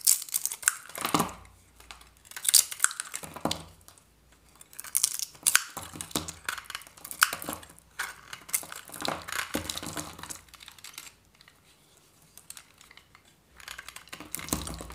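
A hand-held, hand-sized, varnished dry soap bar is scraped and cut with a metal knife blade, shaving off its decorated surface. Dry, bright scraping and crinkly cutting sounds come in bursts with quieter pauses between, including a longer lull near the end before the shaving resumes.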